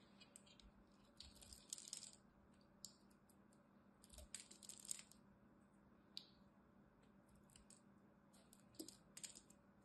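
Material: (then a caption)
Soap. A small black-handled blade scrapes and chips pieces from the edge and face of a solid, palm-sized green bar of soap held in the fingers. Bursts of crisp, bright scraping and crackling come in clusters with short sharp clicks, separated by quiet stretches over a faint, steady low hum.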